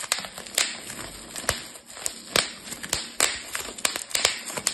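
A clear plastic bubble wrap sheet is twisted between fingers and thumbs, popping its bubbles. Sharp, bright pops come at irregular intervals over a steady crinkling hiss of plastic, with about sixteen distinct snaps that die away almost instantly.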